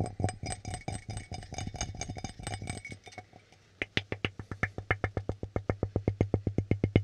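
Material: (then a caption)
Ceramic. Fingertips and nails tap the base and sides of an empty red ceramic coffee mug with a white interior, held upside down so it sounds hollow. A dense, fast patter of short taps with a bright ringing tone runs for about three seconds, then briefly goes quiet. Slower, steady, louder clicks follow, each dying away almost at once over a low hum.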